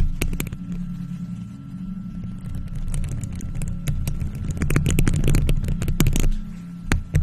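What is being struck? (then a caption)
Metal mesh microphone grille. Long purple nails on faux leather gloves scratch and tap the hollow, round silver metal mesh grille of a studio microphone. A dense, boomy low rumble is peppered with sharp, bright clicks and scrapes, growing busier and louder toward the end before a final few taps.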